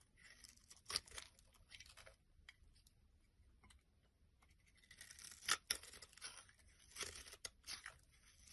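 A metal blade scrapes thin strands off a solid olive-green rectangular soap bar with a scored grid surface, held in both hands above a wooden surface. Quiet, bright, dry scraping and rasping strokes come in uneven bursts, with sharper peaks near the start, the middle and toward the end, and almost no low end or ring.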